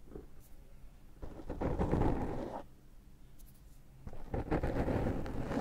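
Fingertips rub and scratch the surface of a dark foam microphone windscreen, close up. Two bursts of soft, dull, crackling rustle rise out of a quiet low hum: one from about 1.2 to 2.6 seconds, and a longer one from about 4 seconds to the end. The sound is weighted toward the low and middle range, with almost no bright content.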